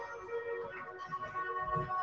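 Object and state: Nothing is struck.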